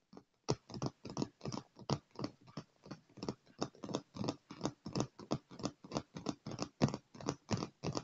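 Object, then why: Padded leather chair armrest. Both hands rapidly tap a dark padded leather armrest of a chair with fingertips and short nails, drumming out a fast, slightly uneven patter. About 32 soft, dull thumps with light clicky tops come at roughly three per second, each dying away almost instantly.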